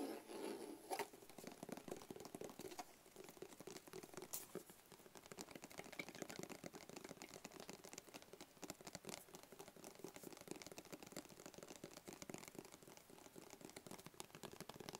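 A medium, hollow, rigid black cardboard box with a barcode sticker is tapped quickly with fingertips and nails. The result is a quiet, continuous patter of dry, rapid taps with a hollow midrange tone and very short decay, plus faint clicky nail ticks on top.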